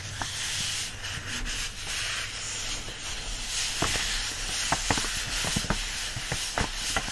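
An open paperback is held with a thick block of its paper pages pinched upright between both palms, and the pages are gripped and rubbed against each other. A steady, bright papery hiss carries throughout, with sharper scratchy crackles breaking through more often in the second half, over a faint low hum.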